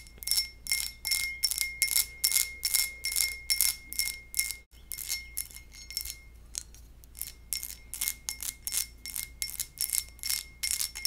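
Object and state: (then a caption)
Glass goblet, tapped. A textured glass goblet is tapped in a quick, uneven series, each tap giving a bright, bell-like ring with a steady tone near 2.1 kHz that fades within a fraction of a second. The taps break off briefly partway through, continue more softly for a stretch, then return to louder, steady ringing taps.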